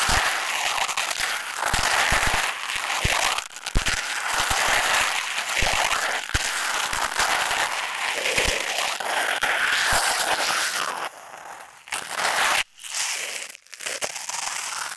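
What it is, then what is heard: Foam bath sponge. Fingers squeeze and rub a hand-sized, soft, porous oval grey foam sponge with a blue fabric side against a tape-covered earbud microphone. The result is dense, close crackling and crinkly rustling with a bright, hissy top end. It stays steady for about 11 seconds, then drops into quieter patches broken by short silent gaps.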